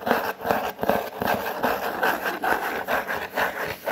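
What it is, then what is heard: Corrugated cardboard being rubbed. Fingers rub across a large, flat, brown corrugated cardboard sheet. The result is a series of dry, papery scratching strokes that rise and fall in uneven waves, with most of the sound in the midrange.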